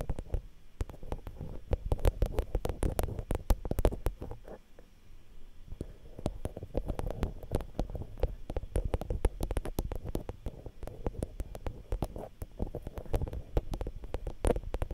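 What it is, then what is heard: Metal mesh microphone guard tapped with nails. Long nails tap and scratch directly on the metal mesh guards over the X/Y mic capsule of a Zoom H5 handheld recorder. The result is a dense stream of quick, dry clicks over boomy low thumps and scraping rumble, with a brief quieter stretch near the middle.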